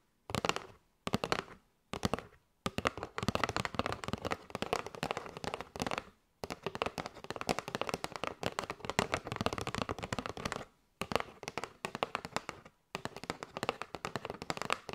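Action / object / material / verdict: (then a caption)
tap / cardboard box filled with paper straws / cardboard / none. Long nails tap rapidly on a kraft cardboard box with a window, full of paper straws, making dry, crackly clicking in dense bursts broken by short pauses. The taps are sharp and short with no ring, heard close up.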